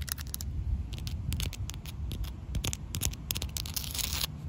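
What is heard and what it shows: Long black pointed nails, tips held straight down, tap and scratch a large, solid, rough outdoor concrete slab. Rapid crisp clicks and gritty scrapes flash across the highs over a steady low rumble, building to a denser scratching burst near the end.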